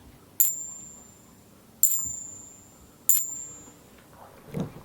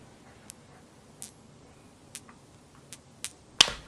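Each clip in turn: First: Three bright, very high clinks of two clad half dollars tapped together, each fading within about a second. Second: Five or six light coin-on-coin taps, each leaving a thin, very high ping that lingers about half a second.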